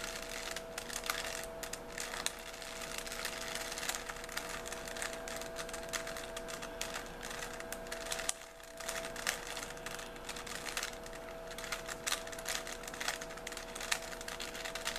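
A small solid 3x3 plastic Rubik's cube is held in both hands while fingertips twist its layers rapidly. The result is a dense, continuous stream of quick, bright plastic clicks with a short pause around the middle. A faint steady hum sits underneath.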